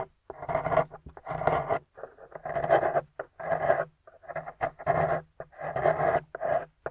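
A metal pick scrapes out a hollowed cavity in a solid gold-painted plaster excavation bar, close up. Short rasping scrapes come in uneven bursts with a gritty midrange and a bright, crumbly top, separated by brief pauses.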